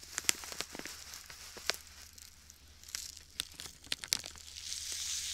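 A clear plastic bag full of white sand is kneaded and rubbed by fingertips beside the microphone. It gives off quiet, bright crinkling and gritty crunching, punctuated by sharp, clicky crackles. Toward the end it swells into a steadier high hiss of shifting sand.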